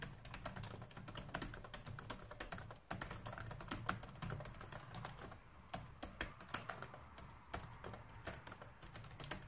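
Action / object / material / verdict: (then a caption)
tap / plastic laptop keyboard / plastic / none. A black plastic laptop keyboard on a desk is typed on quickly with both hands, using fingertips and nails. Dense, rapid, quiet clicks and taps run throughout with short, dry decays over a steady low hum, pausing briefly near the three-second mark before resuming.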